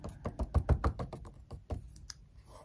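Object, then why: Glossy paper magazine on a desk. Long acrylic nails and a wooden stick tap, trace and rub across the glossy photo pages of an open paper magazine lying on a desk. A quick run of soft, dull, low taps with very short decay gives way to faint rubbing and a light page turn near the end.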